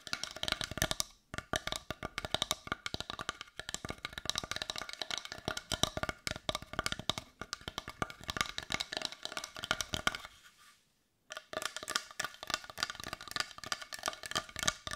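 A palm-sized, solid-looking brown carved wooden heart is held in the hands and tapped and scratched with long nails. Rapid, dense, dry clicking taps with a bright edge and almost no ring run continuously, broken by a brief silence near the end before the tapping resumes.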